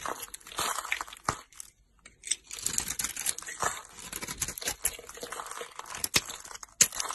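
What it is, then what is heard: Soap bar being carved. A solid pink soap bar with a green glitter coating, held in the hand, is carved with a utility knife blade into pink curls. Bright, dry scraping and crunching shaves come in quick irregular strokes with a few sharper snaps and a short pause partway through.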